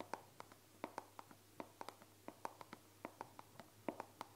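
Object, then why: Plastic body cream bottle. A hand-sized dark brown plastic bottle of body cream with a white-printed label, hollow and apparently at least partly full, is held in one hand while the fingertips and painted nails of the other tap and scratch it close to the microphone. Nineteen quiet, dry, hollow clicks land in an uneven rhythm, each dying away almost instantly. A faint steady low hum runs underneath.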